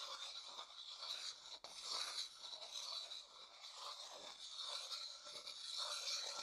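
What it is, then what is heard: Light wooden bowl being scraped. A thin wooden stick rubs and scrapes around the inner surface of a medium, hollow, empty light wooden bowl. The result is a steady, bright, hissing scrape with no low end, swelling and easing in waves, with a brief drop partway through.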